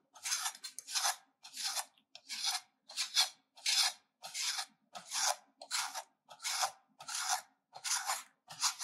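A solid pink soap bar, held in the left hand, is grated with a metal hand grater held in the right hand, in repeated scraping strokes. Each stroke makes a bright, dry rasp with almost no low end, separated by short silences at a fairly steady pace of roughly one and a half strokes per second.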